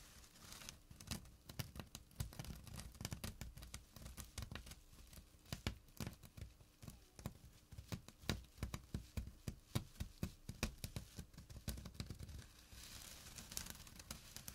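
Fingertips and short nails scratch the woven surface of a small, flat burlap pouch with a drawstring. The result is a quiet, steady stream of short, dry, rasping scratches with a soft low rumble underneath. Near the end it shifts briefly into a brighter, hissier rub.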